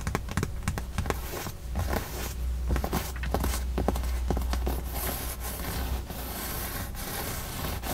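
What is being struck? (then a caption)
Padded leather car seat bolster with stitched seam. Long nails scratch and rub along the seam and surface of a padded, stitched white leather side bolster on a Tesla car seat. The result is a steady run of soft, dry scratching and rubbing strokes over a constant low hum, with no ringing after each stroke.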